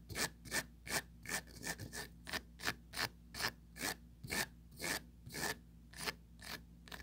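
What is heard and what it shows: Long pointed nails trace and scratch along the raised rim, ridged interior and mesh bottom of an empty small oval plastic tray. About 18 short, rasping strokes come in a steady rhythm, each bright and hissy with a faint whistling tone near 1.7 kHz. Each stroke stops almost at once, with a low steady hum underneath.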